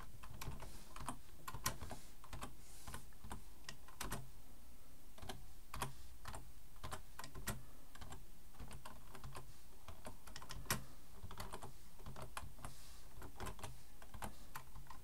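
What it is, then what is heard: Plastic computer keyboard. Fingertips type on a black plastic full-size computer keyboard resting on a wooden desk, with one hand resting near its front edge. A steady, quiet stream of soft key clicks runs throughout over a low, dull undertone, with an occasional slightly louder keystroke.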